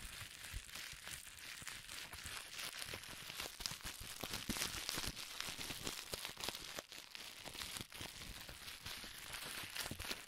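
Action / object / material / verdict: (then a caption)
scrape / plastic bubble wrap / plastic / none. A strip of clear plastic bubble wrap with air-filled bubbles is twisted by hands and squeezed into a ball. It makes a steady, bright crinkling and crackling, dense with sharp snaps, at a fairly low level throughout.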